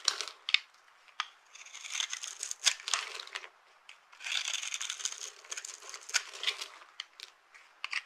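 A blade tool scrapes and cuts across a small, solid, dry green bar of soap set in a shallow silver-edged dish, and the crumbs fall onto a pile of broken soap pieces. The sound is a dry, bright crunching and crackling, with bursts of scraping separated by short pauses.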